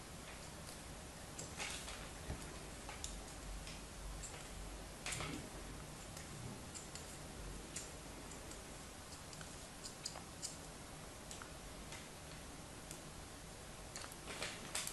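A solid red kinetic sand animal shape lying on the palm has its surface scored in crosshatch lines by a thin black knife blade. The result is quiet, dry, crisp ticking scrapes over a low, steady background hum, with bright clicks scattered throughout.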